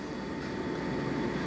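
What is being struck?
Nothing is struck.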